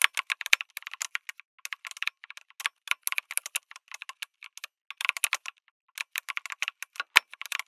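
Fingertips type fast on a lit mechanical keyboard with an aluminum case and plastic keycaps, making dozens of short, crisp, bright clicks in quick runs. The clicks have almost no ring and no low end. There are brief pauses near the start and just before the six-second mark, and one louder, sharper clack comes near the end.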